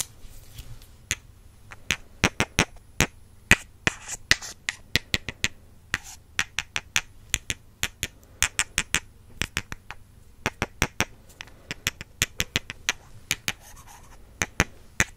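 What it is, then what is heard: Wooden makeup brush handles tapped together. Two slim, solid wooden makeup brush handles, held in hands with long purple nails, are tapped and crossed against each other in front of the microphone. Around fifty sharp, dry, bright clicks follow in an uneven, quickening rhythm, each dying away almost instantly over a faint low hum.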